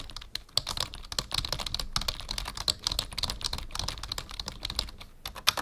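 Fingertips of both hands type quickly on a black full-size plastic membrane keyboard with a numpad, resting on a wooden desk. The result is a steady stream of short, bright, dry key taps with occasional louder strokes, each dying away almost instantly.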